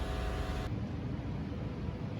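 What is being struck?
Nothing is struck.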